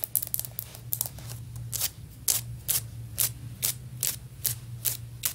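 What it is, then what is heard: Solid ceramic floor tile. Long nail tips tap rapidly on a solid, stone-pattern ceramic floor tile near the grout line. Each tap gives a short, bright click with almost no ring, in a fast flurry at first and then more evenly spaced, over a steady low hum. The tile sounds solid.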